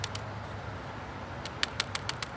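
A dried red kidney bean pod is shaken so the loose beans inside rattle in about nine short, dry clicks over a low background hum. The pod is ready for harvest, unlike the soft pod next to it, whose beans are still firm and not yet dried out.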